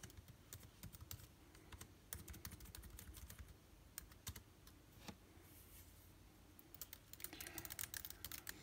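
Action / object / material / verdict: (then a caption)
tap / plastic laptop keyboard keys / plastic / none. Someone types with the fingertips of both hands on a backlit MacBook Air keyboard with plastic keys. The result is a steady run of quick, bright, clicky key taps over a low, soft background rumble. The typing grows denser and faster toward the end.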